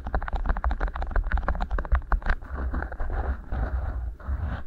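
Fingertips rub and squeeze two matching beeswax-coated cotton wraps rolled into hollow tubes over the microphone capsules. Quick waxy crackles and taps come first, then turn into a denser, steady rustling, all over a heavy low thumping rumble.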